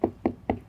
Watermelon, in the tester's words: a little Hollow yeah like a nice Hollow sound uh so that lets us know that it's juicy